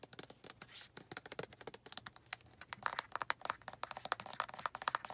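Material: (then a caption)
Plastic. Long nails tap rapidly on the sides of a white plastic lotion bottle with a black cap. The result is a dense, fast run of crisp, bright clicks with almost no low end, each tap dying away almost instantly.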